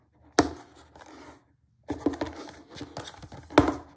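Fingertips rub and scratch along the yellow edge of a small, flat, closed printed cardboard box, the retail packaging for a BlackWeb glass screen protector for iPhone SE 2.0, 7 or 8, held in hand over a dark table. Dry, papery scraping comes in short bursts, with a few sharper ticks standing out and a brief silent gap partway through.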